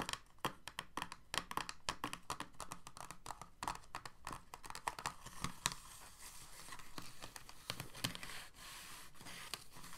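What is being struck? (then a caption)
Thin moulded plastic tray. Fingertips and nails tap and scratch quickly across an empty, clear, thin moulded plastic blister tray with hollow ridges, like typing. Dense, sharp, brittle clicks and crinkly scrapes with a bright plastic edge, centered around 1.1 kHz, sit over a steady low hum. The pattern slows and thins slightly toward the end.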